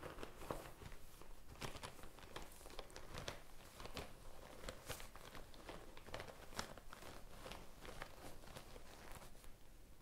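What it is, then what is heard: Faux leather pouch. A small, hollow pink faux-leather zip pouch is held close to the microphone and tapped and scratched with long painted nails and fingertips. The result is a quiet, steady stream of crisp, dry taps and scratchy rustles. Each sharp click dies away almost at once.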